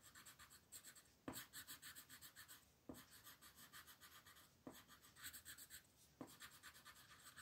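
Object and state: Pencil coloring on a paper page.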